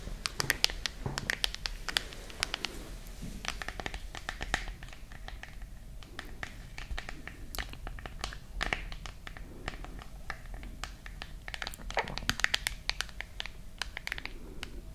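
Long nails tap and scratch the solid glass back and metal frame of a silver-white smartphone. Many quick, sharp, bright clicks come in irregular clusters over soft scratching and a steady low hum. Each tap is dry and stops at once with no ring.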